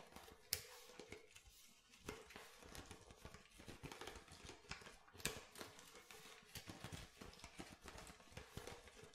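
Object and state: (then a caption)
Plastic water bottle. Fingernails tap the base and body of an empty clear plastic water bottle with a blue label. The result is a quiet, steady run of short, dry, bright clicks and light crinkles, with a few sharper taps standing out.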